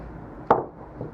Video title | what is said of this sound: Weapon Cannon 35 Travel Adjust - Weapon Cannon 35 What's Inside - Raw Tutorial | Kahit pukpukin natin ng martilyo yan, hindi siya nababasag.